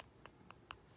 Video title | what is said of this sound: HOW TO Ombré using Dip Powder | That little thud. So that tells us that the activator is not set.